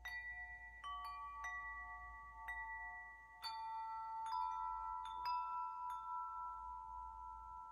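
Long hollow metal wind chime tubes are held up by the top while the other hand taps the tubes and swings the clapper. Bright, bell-like strikes ring out one after another, and their clear tones overlap and sustain into a long shimmering wash.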